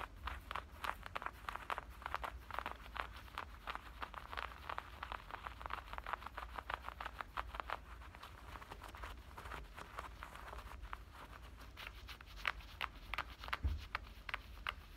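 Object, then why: Denim shorts pocket and waistband. Fingertips and nails scratch at the waistband and front pocket edge of soft black denim shorts, making a steady run of quick, dry scratching strokes. The scratches are centered in the midrange with brief bright edges, over a constant low hum throughout.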